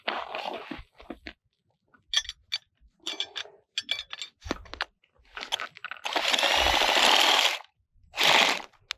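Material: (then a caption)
Ice. Clear lake ice is struck repeatedly and proves brittle, giving sharp, bright crunching cracks in a quick irregular series. Two longer grinding crunches close the sequence, and visible cracks form in the ice.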